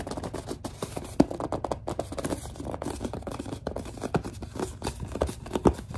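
A large white plastic Suave lotion bottle is gripped and squeezed by hands while long nails tap and scratch its label. The result is a dense run of soft, dull scratching and tapping, with a few sharper squeaky grips standing out.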